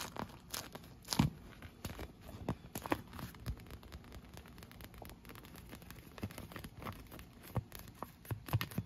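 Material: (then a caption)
Vinyl. An inflated, clear PVC vinyl pool lounge, hollow and air-filled, is tapped and scratched with long nails, including along its cup-holder rim. Dense, quick clicks and scratchy, crinkly rubs keep up throughout, with short hollow thumps and a few sharper taps standing out over a soft hiss.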